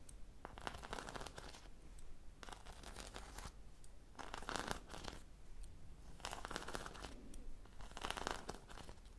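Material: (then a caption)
Foam. Long fingernails scratch across a sprinkle-covered foam popsicle squishy toy with a stick, held in one hand. The result is repeated bursts of dry, bright, rasping scratches over a low, steady background hum.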